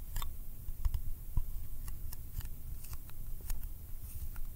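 A small round yellow metal candy tin with a printed lid is held in the fingers and tapped with the fingertips and nails. Quiet, dry clicks and light taps come in an uneven run over a low, muffled rumble, each one short with no ring.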